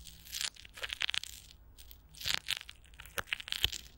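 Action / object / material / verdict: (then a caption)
scrape / plastic film over a microphone grille / plastic film / none. Clear plastic film stretched over a hollow microphone grille is pressed and crinkled by a palm while long nails scratch across it. The result is a series of bright, crackling crinkles and sharp scratchy bursts, mostly high-pitched with little low end, each snapping off quickly between short quiet gaps.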